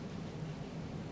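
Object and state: Nothing is struck.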